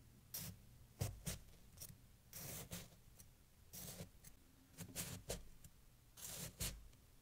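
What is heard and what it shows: A kitchen knife slices and scrapes down through a solid mound of packed snow resting on a towel. It makes a series of crunchy, gritty bursts of cutting and scraping, each a bright, crisp hiss over a soft low thud, with quiet pauses between strokes.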